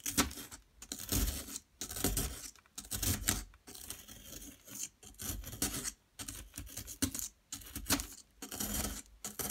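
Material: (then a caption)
Plaster. A small metal pick chips and scrapes at a solid yellow plaster excavation block. Irregular bursts of gritty, bright scraping and crumbly chipping come and go, separated by brief quiet pauses.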